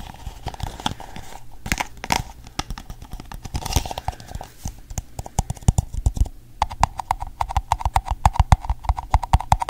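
An empty pink hollow plastic cup is held over and around a microphone while fingertips and nails tap on its base and sides. The result is a run of short, dry, hollow taps with a low, thumping body, like a soft clip-clop. The taps grow denser and louder in the last few seconds.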